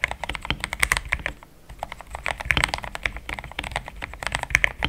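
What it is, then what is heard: Plastic mechanical keyboard. Fingertips of both hands type steadily on a compact pink-and-cream plastic mechanical keyboard with thick XDA-profile keycaps, Gateron Yellow switches and a polycarbonate plate, resting on a desk mat. Quick, bright clacking keystrokes centered around 2 kHz come in a dense, uneven stream, each dying away almost instantly, with a brief quieter lull near the middle before the typing picks back up.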